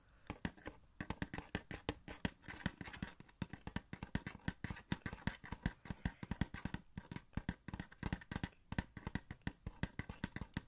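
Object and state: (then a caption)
Cardboard collectible box with plastic window. A small, hollow cardboard Funko Pop box with a plastic window, holding a Catwoman figure, is held up and tapped and scratched with fingertips. Dense, rapid, dull taps with a low, hollow thump and very short ring come in a steady irregular stream, with soft scratchy rustling between them.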